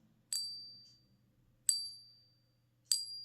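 Genuine one-ounce silver bullion coins are given the ping test, producing three separate bright, high-pitched metallic dings that ring out and fade over about half a second each. Both coins ring clearly, marking them as real silver.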